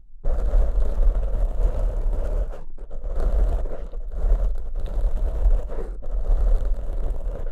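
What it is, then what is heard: Foam microphone windscreen being scratched. Fingertips scratch and squeeze two matching large black soft porous foam windscreens on studio microphones. The result is a dense, rumbling crunch, heavy in the low end with a midrange rasp. The contact comes in continuous bursts broken by brief pauses.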